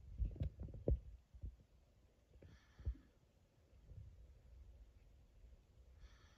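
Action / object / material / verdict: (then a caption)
tap / plastic juice bottle / plastic / none. Fingertips tap and rub the plastic label of a full 1 L plastic Frooti bottle. Quiet, dull, low thuds cluster near the start, with another at about three seconds. Between and after them come soft, scratchy rubbing sounds and faint bright hissy swishes.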